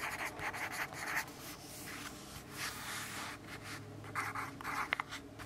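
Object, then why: Graphite pencil on a paper notepad. A yellow graphite pencil writes on a lined paper notepad resting on a wooden desk, making a steady scratching and rubbing sound. Quick bursts of bright, papery scratching centered around 2 kHz come in uneven strokes, with short pauses between.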